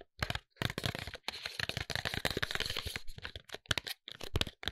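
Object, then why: Paperboard box. A closed, tall white paperboard serum box is tapped and scratched along its faces with fingertips and nails. The result is a quick run of dry, crackling taps and papery scrapes. The bursts are brief and close together, with a low thud under bright, rasping edges.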